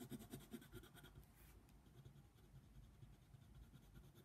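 A yellow colored pencil scratches quick strokes across a flat paper coloring book page, coloring a giraffe. The first second holds a burst of distinct, slightly louder strokes, then the sound settles into a steady, soft, low scratching with faint brighter flecks.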